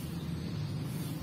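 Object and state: Nothing is struck.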